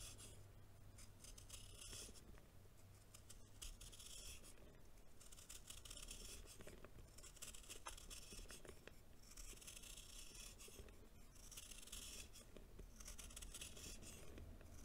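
A green knife blade scrapes and shaves a hand-held solid chunk of compacted baking soda, making crumbly, dense scratching in repeated bright, hissy sweeps. A low, steady hum sits underneath the quiet, continuous scraping.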